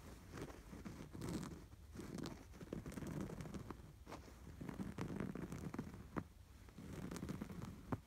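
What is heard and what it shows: Several fingertips scratch back and forth over the textured red and white sweater-motif embroidery on a soft, stuffed cream canvas throw pillow. The sound is a soft, muffled, mostly low scratching and rustling in repeated bursts, with a few short, sharp ticks that die away almost instantly.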